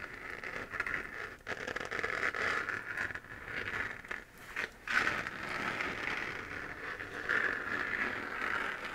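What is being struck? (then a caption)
3D-printed plastic moon lamp. Fingernails scratch the crater-textured surface of a hollow, glowing 3D-printed plastic moon lamp sphere. The result is a steady, dry, crackly scraping centered in the midrange with a brighter hiss above. It breaks off briefly around 1.5 seconds and again near 4.5 seconds before resuming.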